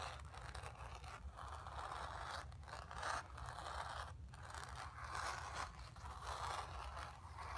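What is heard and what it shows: Long nails on both hands scratch across the surface of a square, acrylic-painted stretched canvas on a wooden frame, hollow behind, resting on carpet. The result is a continuous, dry, rasping scrape centred around 1 kHz that swells and fades in repeated strokes, with brief gaps between passes, over a steady low rumble.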